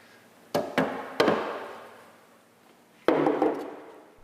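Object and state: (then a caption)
Solid steel car underbody, not rusted through. The steel underside of a 1986 MG Montego Turbo, raised on a lift, is tapped to check for rust. Three quick knocks are followed by a pause and then more taps, each a dull mid-pitched knock with a short ringing decay. The underbody proves solid rather than rotten.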